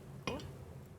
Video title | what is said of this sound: DidikTV Men Atas 2022 Ep 122 Sains Tingkatan 4 Aloi | ia akan menghasilkan bunyi yang sedikit kuat